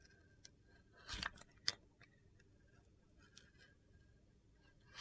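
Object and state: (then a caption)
Soap bar being shaved with a blade. A utility knife blade shaves white curls off the top of a solid rectangular soap bar with a red-yellow gradient, held in the hand. Quiet, crisp, high-pitched scraping is heard, with a louder gritty scrape and a sharp click near the middle, then fainter shaving sounds that swell again at the end.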